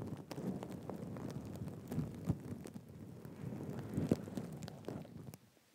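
Fingertips and nails scratch and brush across a soft, stuffed, black and gold reversible sequin cushion resting on a lap. The result is a continuous, quiet, low-to-mid rustling scrape dotted with small, sharp clicks from the sequins. The sound cuts off into near silence at the very end.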